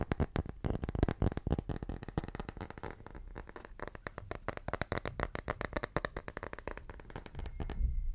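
A small, round, solid wooden tree slice held in one hand is tapped quickly with the fingertips. The result is a rapid, continuous stream of short, dull, low knocks that stop almost instantly, with a few brighter clicks mixed in. The tapping stays steady for about eight seconds before ending in a soft rumble.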